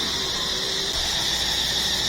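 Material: Nothing is struck.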